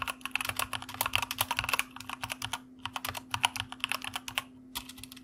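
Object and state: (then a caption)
Mechanical keyboard being typed on. Fingertips of both hands type steadily on a white plastic mechanical computer keyboard, producing about 34 crisp, bright key clicks with short pauses near the middle and toward the end. A faint steady low hum runs underneath throughout.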